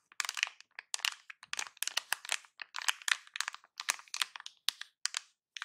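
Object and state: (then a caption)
Metallized plastic anti-static bag crinkled. A large silver metallized plastic anti-static bag in a box is crinkled and pressed with fingertips. It gives a rapid run of sharp, bright crackles and crinkles with no low end, each burst short and dry.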